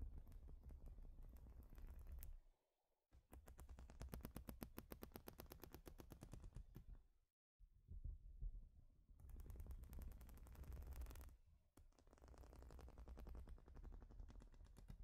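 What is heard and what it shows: Long nails rapidly tap and scratch across the studs of a large, flat, plastic Lego-style baseplate. The result is a dense, fast clicking rattle in bursts, with brief pauses between them. The clicking is mostly low but has a bright edge.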